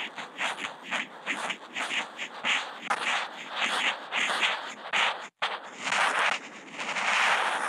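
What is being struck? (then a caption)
Felt marker tip on Kent paper. The felt tip of a Posca marker, fitted with a contact mic, draws small looping spirals on a flat white sheet of Kent paper. Bright, dry scratching comes in a steady run of rising and falling strokes, with a brief complete silence just past the five-second mark before a louder, denser scrawl finishes the clip.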